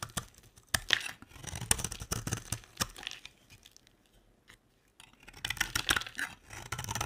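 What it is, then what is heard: Dry bar soap being shaved. A square, solid beige bar of dry soap is held in the hand and shaved with a box-cutter blade, cutting and scraping off shavings. Dry, crisp, bright scraping and crackling strokes come in bursts, with a quiet pause in the middle before the shaving resumes.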